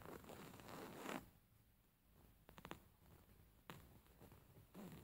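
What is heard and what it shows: Fingernails scratch along the embroidered lines of a stuffed, beige stitched linen pillow, starting with a long, dry, broadband rasp. After a quiet pause come a few quick scratchy ticks, then sharper scrapes that break off abruptly.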